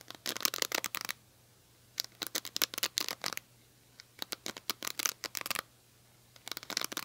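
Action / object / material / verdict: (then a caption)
scrape / cushion hairbrush with plastic bristles / plastic / none. Long nails scratch across the plastic bristles of an oval cushion hairbrush with a silver, metal-look handle, making bright, crisp, rapid ticking scratches. The scratches come in four short bursts separated by quiet pauses.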